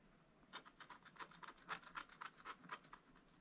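A wooden stylus scratches quick fill strokes into a spiral-bound scratch-art paper page, black coating over a rainbow layer, on a bunny figure while the other hand holds the book. A rapid, slightly uneven run of short, dry rasping strokes, about four per second, centres in the upper mids with a bright hiss on top. Each stroke stops dead with no ring.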